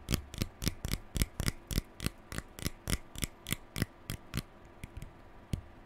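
A fingertip and nail scratch and flick along the pale plastic bristles of a lilac plastic hairbrush held in both hands. About nineteen quick, crisp, bright flicks snap by with a dry scratch and almost no ring. They come at a brisk, uneven pace and grow sparser and softer toward the end.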